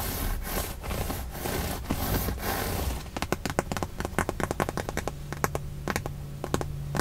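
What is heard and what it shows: Long nails scratch and rub along the seam and surface of a stitched, padded white leather side bolster on a Tesla car seat. The first three seconds are a steady, breathy rubbing with rhythmic strokes, then it turns into a quick run of sharp, bright scratchy clicks. A faint low hum enters near the end.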